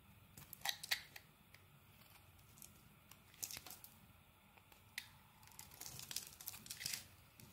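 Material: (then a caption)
Soap. A solid, dark green rectangular Axe soap bar is held in the hand and shaved into flakes with a metal blade. Quiet, crisp scraping strokes and bright crackly flicks come in bursts, with little low end and no ringing between cuts.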